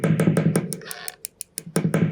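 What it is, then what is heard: Working guitar pickup. A steel awl taps the top of a pole piece on a newly installed humbucker rhythm pickup, with the guitar plugged into an amp set with all controls on full. Since the pickup's magnets sense moving steel, each tap comes through the amp as a quick, low, thumpy knock. A muffled stretch and a few faint clicks break up the taps, and the amplified tapping confirms the pickup works.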